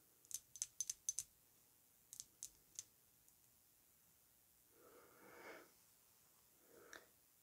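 Long nails tap the base and front of a filled, square, thick glass Narco Oasis perfume bottle standing on fur, making about ten bright, sharp clicks that stop almost instantly. A soft, breathy rustle follows, then a brief fainter one near the end.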